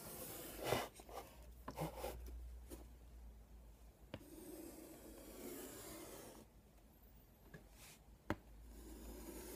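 A hand draws a tic-tac-toe grid with a stick of chalk on a flat black chalkboard with a light wooden frame and white alphabet letters, lying on a bed. Quiet, dry scratching and scraping strokes of chalk across the board's surface are broken by brief pauses and a few sharper taps, over a low, steady background hum.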